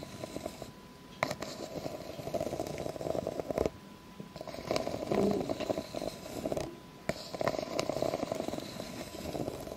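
Long fake nails scratch along the ridges of a clear, hollow, empty ribbed plastic drinking cup held upside down, and tap on it. The sound is a dense, mid-pitched rasping in uneven bursts, broken by sharp clicking taps and short quiet gaps.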